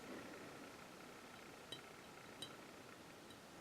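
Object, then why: Diecast metal scale model aircraft. A small 1/72 scale diecast metal model of the Messerschmitt Me 163 Komet aircraft is tapped twice. Each tap gives a short, bright metallic clink around 3.9 kHz that rings briefly over a steady background hiss, confirming the model is metal.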